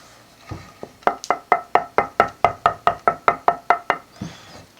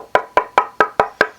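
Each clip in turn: First: northern ash guitar body blank with modest tap tone. Second: resonant swamp ash guitar body.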